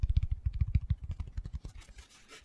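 Fingertips and short nails rub and scratch a hand-sized black foam cylinder with a hole in one end. About fourteen quick, soft, low thumping taps and scratches come in a rapid run, then give way to a fainter, brighter brushing scrape as the sound fades.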